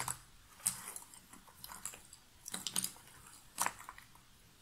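Fingernails rummage and scratch through a pile of loose cardboard jigsaw puzzle pieces in an open box. Quiet, dry, bright rustling and clicking fills the clip, with a few sharper, louder scrapes and clatters as the pieces shift against each other.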